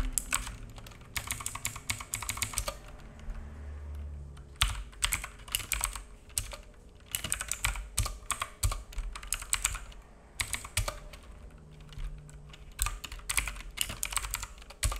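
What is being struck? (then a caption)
Plastic mechanical keyboard. Fingertips of both hands type on a black full-size mechanical keyboard with plastic keycaps and a hollow case, resting on a wooden desk. Rapid bursts of sharp, bright clacks come in runs separated by short pauses, over a steady low hum.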